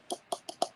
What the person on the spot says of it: that sounds like glass huh yeah that's glass it's not plastic